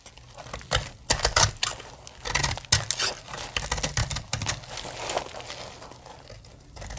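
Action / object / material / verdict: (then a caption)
scrape / bar of soap cut with a blade / soap / none. A snap-off blade carves crumbly dry shavings from the edge of a solid, dry blue soap bar. Crisp, bright scraping and crackling cuts come in irregular bursts, loudest in the first three seconds, then settle into softer, steady scratching.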